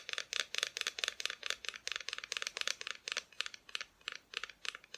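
A small wooden Christmas decoration showing Mr. and Mrs. Claus and their tree is tapped in a rapid, uneven series of light taps. The taps are bright and dry, with almost no low end and very little ring. Each one dies away almost at once.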